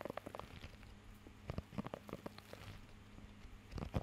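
Fingertips scratch and tap across the raised nubs of a blue rubber pet hair grooming glove held close to the mic. The result is a quiet, irregular run of short, dry taps and scratchy rubs with a soft, low-heavy, muffled tone and almost no ring.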